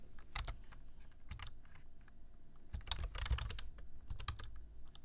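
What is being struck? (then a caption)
Plastic computer keyboard. Fingertips type on a black plastic computer keyboard, tapping the keys in an irregular run of quick, short clicks. Each tap carries a dull low thud under a bright, crisp click, with brief flurries of faster keystrokes.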